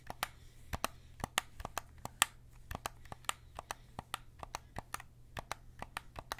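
A white PS5 DualSense controller of hollow plastic is held in both hands while fingertips click its triggers and buttons. About 26 sharp, dry plastic clicks come in an uneven rhythm, each with a bright snap near 1.2 kHz that dies almost instantly. A faint steady low hum sits underneath throughout.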